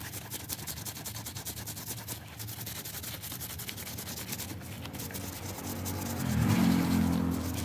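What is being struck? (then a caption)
Wet fabric plush toy. Gloved hands scrub a foam-soaked, yellow-green stuffed plush cat toy with a soft fabric, solidly stuffed body, using a stiff brush. Quick, steady back-and-forth brushing strokes, about four per second, make a wet, bristly swishing with a high hiss. Near the end the scrubbing swells louder and takes on a deeper, fuller tone.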